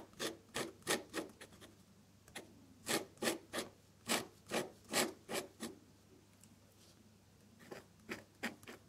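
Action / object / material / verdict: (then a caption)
scrape / metal dip pen nib on drawing paper / paper / none. A metal dip pen nib scratches thin purple stems and buds onto a flat sheet of off-white drawing paper in short strokes. Nineteen quick, bright, raspy scrapes come in uneven bursts, with a quiet pause near the middle before a few final strokes.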